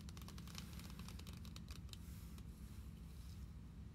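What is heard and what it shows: Long acrylic nails tap and scratch the back of a closed, glossy plastic Pokemon card binder lying flat on a table. The result is quick, irregular, bright clicks and light scraping over a steady low hum.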